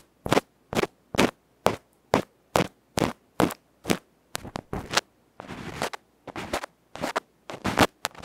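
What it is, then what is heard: Metal microphone capsule being scraped. A bamboo ear pick scrapes a small hollow aluminium electret microphone capsule with a black felt face, held in the fingertips. Nine sharp, bright, crackly strokes come evenly spaced at first, then quicker clustered scrapes follow, with one longer continuous rasp in the middle. Each stroke stops dead with almost no ring.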